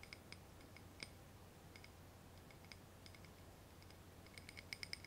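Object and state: Ribbed glass candle holder.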